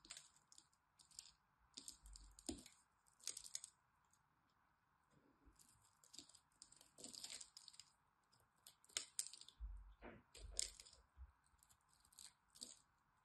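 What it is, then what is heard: Bar soap being scraped. A black blade cuts and scrapes flakes off the corner of a solid green bar of soap held in a hand with long white-tipped nails. Quiet, crisp, bright crackling scrapes come in irregular bursts, with a faint steady mid-range hum underneath.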